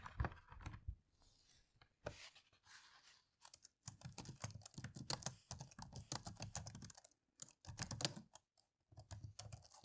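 Both hands type on a dark plastic laptop keyboard, tapping the keys with fingertips and long nails. Quick bursts of short, dry clicks carry a soft low thump and a bright edge, separated by brief pauses. Each tap dies away almost instantly.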